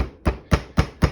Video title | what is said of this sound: Can-Am Ryker - Rattle Noise Under Seat and easy Fix | now if I tap on the seat, I don't get that rattle anymore.